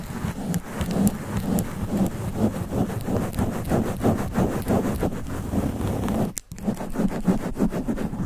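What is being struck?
Foam microphone windscreen.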